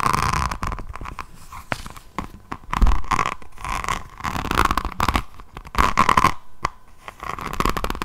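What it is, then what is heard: Rhinestone-covered notebook scratched with nails. Long nails scratch a diamond painting notebook with a resin rhinestone cover, first across its beaded cover, then along its edge and spine. The sound is a dense run of crunchy, clicky scratching bursts with short pauses and a steady low rumble underneath.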